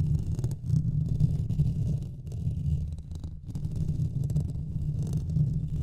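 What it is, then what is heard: Metal mesh microphone grille being scratched. Fingernails of both hands scratch the top of the hollow metal mesh grille on a Blue Yeti microphone, making a continuous, muffled low rumbling scratch. The sound stays heavy in the bass around 170 Hz, with brief dips in the texture near the 2 and 3.4 second marks.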